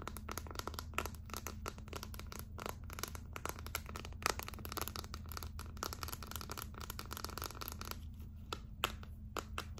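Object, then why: Clear plastic phone case with glitter. Long nails on both hands scratch and tap rapidly across the back of a hollow, clear plastic phone case filled with gold glitter. The result is a dense stream of sharp, bright clicks and scratchy rustling that stop dead with no ring, over a steady low hum.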